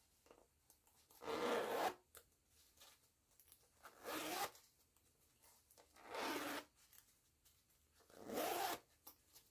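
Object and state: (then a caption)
Canvas zipper pouch being zipped. Fingers with long nails zip and rub along the green nylon zipper of a small floral canvas pouch. Four bright, raspy zipping passes stand out against quiet stretches of faint ticking and scratching.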